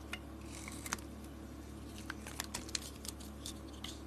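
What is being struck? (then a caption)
Bar of soap cut with a blade. A box-cutter blade peels thick curls off a handheld bar of solid green soap with a red glitter coating. About eleven short, crisp, bright scraping clicks come at uneven intervals over a steady low hum.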